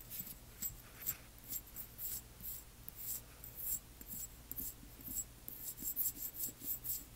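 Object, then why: Small glass dropper bottle with paper label. A small amber glass dropper bottle with a paper label is held in the hands while long nails scratch the label and tap on the glass. Quiet, bright, crisp scratches and light clicking taps come in short bursts over a low, steady hum.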